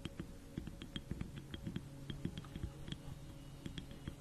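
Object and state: Wooden mushroom figurine tapped with nails.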